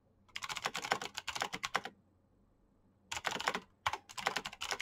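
Fingertips fast-type on the keycaps of a black plastic mechanical keyboard with clicky switches, producing rapid bursts of sharp, bright clicks. A burst of keystrokes runs for about a second and a half, then a pause of just over a second, then typing resumes in quicker clusters to the end. Each click is short and dry with almost no low end.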